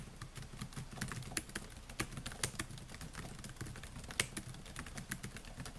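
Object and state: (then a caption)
Plastic laptop keyboard being typed on. Fingertips type steadily on the plastic keys of a silver Dell laptop with a metal and plastic body, producing a quick, uneven stream of soft taps. Each tap is a short, dry click with a bright edge over a muffled low thump, dying away almost instantly, and a few keystrokes land noticeably harder than the rest.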